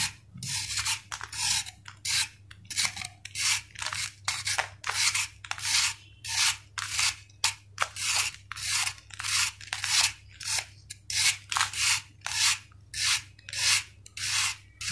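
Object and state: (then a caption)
Sand-cement ball shaved. A steel knife shaves a solid, hand-sized sand-cement ball, with the powder falling onto paper below. Short, bright, gritty rasping scrapes repeat at a steady pace of about one and a half per second, each cutting off quickly into brief quiet.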